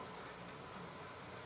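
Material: Nothing is struck.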